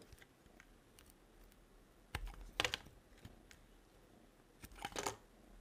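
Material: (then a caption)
Soap. A metal blade carves a solid, dry, yellow-and-white striped bar of soap, slicing off thin curls. Short, crisp scraping cuts with a bright crackle come in two clusters against a quiet background, each stroke ending abruptly with almost no ring.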